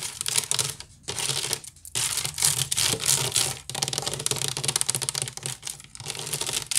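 Long pink nails on both hands scratch fast across a medium, hollow, empty woven wicker basket turned upside down on a table. The result is a dense, bright, crackling scratch with a faint low hollow tone underneath, broken by brief pauses around the first and second seconds.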